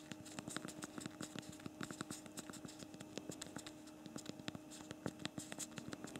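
Fast two-thumb typing on the backlit plastic keyboard of a BlackBerry Priv smartphone produces a rapid, uneven run of short, dry clicks and taps over a faint steady hum. A slight camera shake comes at the end.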